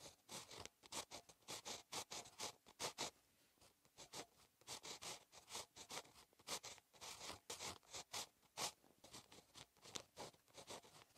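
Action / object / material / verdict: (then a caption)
scrape / ballpoint pen on lined paper notebook page / paper / none. A ballpoint pen tip scratches across a solid, flat lined paper notebook page while handwriting, giving quick, bright, dry scratching strokes with little low end. The strokes come in short rapid bursts, with a brief quieter gap near the middle while the pen lifts before writing resumes on the same page.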